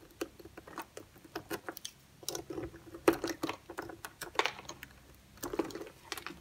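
A utility-knife blade scores a solid green bar of soap held in the hand into cubes and shaves it, while a second uncut green bar lies untouched nearby. The cuts make a rapid, uneven series of short, crisp crunching and scraping snaps with a bright crackle and almost no low end. Each stroke stops dead with no ring.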